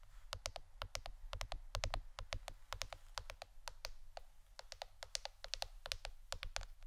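A plastic board shaped like a shirt is tapped with the fingernails for ASMR. A quick, irregular run of short, dry, bright clicks sounds with no ringing, over a steady low hum.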